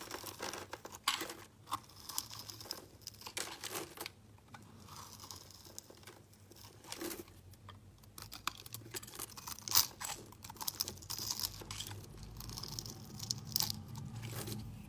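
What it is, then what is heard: Glycerin soap bar being scraped. A solid, translucent green glycerin soap bar held in the hand is scraped with a utility blade into flakes. The result is a run of crisp, bright scraping and crackling strokes with short, dry attacks. Quiet, papery rasps sit between a few sharper cuts.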